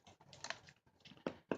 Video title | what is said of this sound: Food for long term storage ---Do's and Don'ts -- My thoughts - unedited - | if you hear a hollow sound it might not be a good thing for you to hear